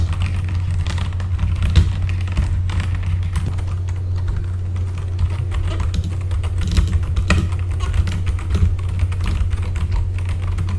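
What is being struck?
Mechanical computer keyboard with plastic keycaps.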